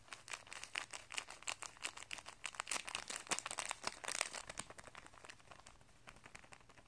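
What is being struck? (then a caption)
Thin plastic packet of guitar strings. Fingertips press, rub and crinkle a thin, clear plastic packet of guitar strings with a paper insert and coiled strings inside, lying on carpet. A rapid, dense run of sharp, bright crinkles and crackles builds through the middle and then thins out and grows quieter toward the end.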